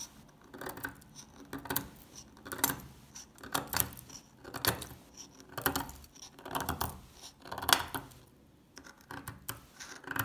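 A solid, translucent, old amber soap bar is held in the hand while flakes are scraped and picked off its corner with a metal pick. The result is a series of dry, crunchy, scratchy bursts at an uneven pace, each with a bright, crisp edge and almost no ring.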